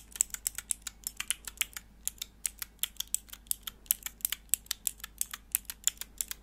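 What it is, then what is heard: Plastic mechanical keyboard switch tester. Long nails press the grey plastic keycaps on a small, hollow, clear plastic switch tester with four mechanical switches, held in the hands. About 38 quick, bright, dry clicks come in an uneven, steady stream, each dying away instantly over a quiet background.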